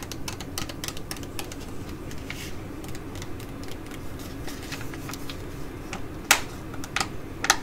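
A flat Mediheal laminated plastic foil sheet mask pouch is held and tapped with long nails and fingertips. Quick, irregular light taps give crisp, bright clicks over a steady low hum, with a few sharper, louder taps near the end.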